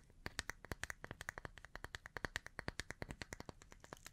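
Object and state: Wooden bath brush.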